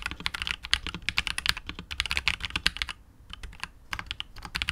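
Fingertips of both hands type rapidly on a KBD67 Lite R2 65% mechanical keyboard with KTT Wine Red linear switches, white and grey PBT keycaps, and a hollow, translucent clear polycarbonate case with RGB lighting. Quick, bright, clacky keystrokes with almost no ring pour out in dense bursts, with a brief lull around the three-second mark before the typing picks up again.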